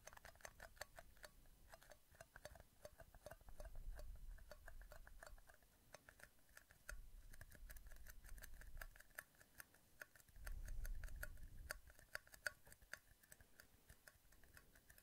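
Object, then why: Small thin clear plastic cups. Two identical small, empty, hollow, thin clear plastic cups, one held in each hand on either side of the microphone, are squeezed and tapped with fingertips. A rapid, uneven stream of light, bright plastic clicks and ticks continues throughout, over soft low rumbling swells that rise and fade several times.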